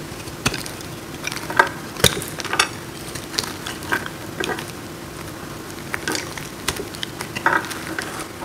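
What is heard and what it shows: A metal blade scrapes and carves a hand-sized solid block of dry blue-green soap held in the hands, breaking off crunchy crumbles. A steady dry scraping hiss runs underneath frequent sharp, bright crackles and snaps that die away almost at once.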